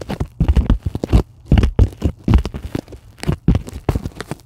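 Long acrylic nails rapidly tap and scratch a white polyethylene packing foam sheet lying on a table. The result is a dense run of dry, crinkly scratching and tapping bursts with a heavy low-end thump and no ring after each one.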